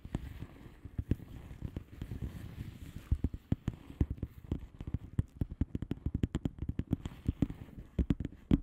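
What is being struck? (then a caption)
Plastic bubble wrap padded envelope. Long fingernails of both hands tap rapidly across a flat blue plastic bubble wrap padded envelope with air-filled bubbles. The taps are short, dry clicks with a dull, low thud and almost no ring. They come in quick, uneven runs over a soft low rustle.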